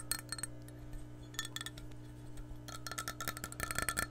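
Long nails tap and scratch the base and side of an empty, hollow clear glass measuring cup. The result is quick, bright glassy clinks with short ringing tones over a steady low hum, growing denser and louder toward the end.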